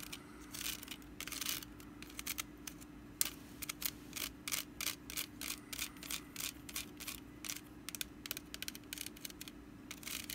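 Long nails scratch along the woven strands of a small, hollow, orange woven wicker pumpkin basket with a lid, held in the hands. Quick, bright, crisp scratching bursts come in an irregular rhythm, each dying away almost at once. A faint, steady low hum runs underneath.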